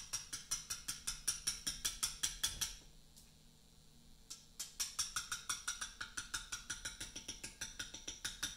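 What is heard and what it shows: A steel letter-cutting chisel is tapped repeatedly with a small round mallet on a large solid Portland limestone memorial block, chipping the stone surface. About forty short, bright, dry taps ring high and die away almost at once, in a steady run broken by a brief pause near the middle before the tapping resumes.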